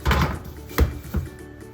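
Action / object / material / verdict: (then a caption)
tap / bread loaf, tapped on the bottom / bread / hollow. A freshly baked loaf of bread, still hot, is flipped over and its bottom tapped three times, giving short, low, hollow thuds. The hollow sound shows the loaf is cooked through.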